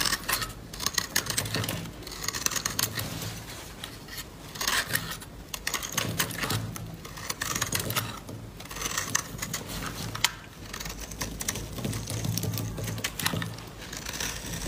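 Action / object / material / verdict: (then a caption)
scrape / bar of soap cut with a blade / soap / none. A utility-knife blade repeatedly scrapes and cuts crisp curls and chips off a solid pink dry bar of soap held in the hand. The result is a steady run of bright, dry scratching and crackling strokes over a faint low hum.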